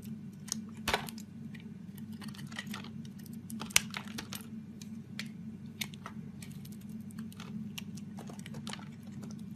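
A metal razor blade carves and scrapes curled shavings off a solid green bar of soap held in a hand with light-coloured painted fingernails. Short, crisp, bright scraping ticks come in quick irregular bursts over a steady low hum. One sharper snap stands out partway through.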